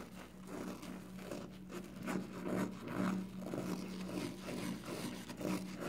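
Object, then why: Foam kitchen sponge with scouring pad. A hand-sized, porous yellow foam kitchen sponge with a scouring pad, soapy and wet, is folded, squeezed and rubbed by fingers. It gives soft, repeated wet squelching and rubbing bursts at an uneven pace over a steady low hum near 190 Hz.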